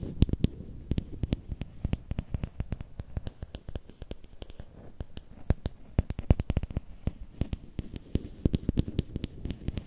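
A long, thin, solid bamboo or wooden stick is held horizontally in both hands while fingertips and nails tap and scratch along it. The result is a rapid, uneven run of dry, close clicks with a low, dull thump and a bright tick on each strike, and soft scratching in between.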